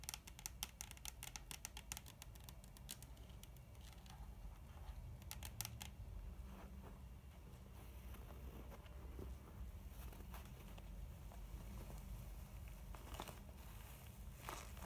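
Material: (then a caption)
Faux leather. Long painted nails and fingertips tap and scratch the front and sides of a soft, mint, textured faux leather cosmetic pouch filled with makeup. Quick, bright, dry clicking taps come in dense bursts early on, then give way to softer, rustling scratches over a steady low hum.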